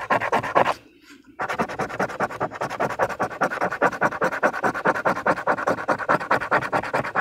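A thin paper Michigan Lottery "Wild Time" scratch-off ticket lies flat on a surface while a fingernail or fingertip scratches rows of its latex coating away to reveal numbers. Quick, dry, rhythmic scratching strokes rasp across the card with a brief pause near the one-second mark, then resume at a steady, brisk pace until the end.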